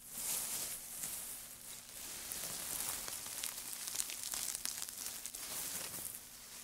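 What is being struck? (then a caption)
Pile of wood shavings. Gloved hands scrunch and lift handfuls of thin, dry wood shavings from a pile, producing a continuous bright, crackling rustle. Sharp crisp snaps and crinkles rise out of a steady high hiss, with little low-end weight.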